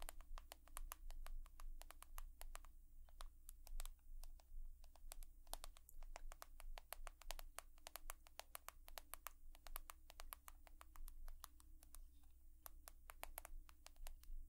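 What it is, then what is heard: Smartphone tapped with nails. An iPhone, glass and metal, is tapped rapidly with long nails. Quick, bright clicking taps with very short decay run over a steady low hum throughout.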